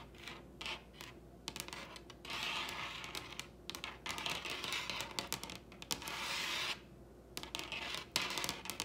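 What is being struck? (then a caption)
Wooden table top. Long red nails tap and lightly scratch the surface of a large solid wooden table top. Quick, bright clicks come in irregular bursts, mixed with longer stretches of dry, scratchy rubbing, against a faint low hum.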